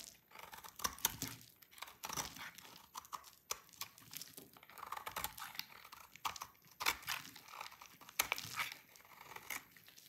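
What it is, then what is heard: Dry soap bar. An oval, solid, dry blue soap bar is shaved with a utility knife blade, sending brittle blue flakes falling. The result is a quiet run of crisp, dry scraping and crunching bursts, bright and papery with almost no low end, and each stroke cuts off with no ring.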